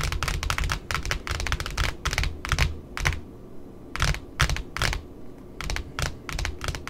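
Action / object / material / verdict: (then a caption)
tap / cardboard ribbon spool with satin ribbon / cardboard / none. Long nails tap and scratch the white cardboard disc of a large pink spool of satin ribbon resting on a table. The result is quick, irregular bursts of dry clicking taps with a soft low thud beneath, short bright scratches, and brief pauses in between.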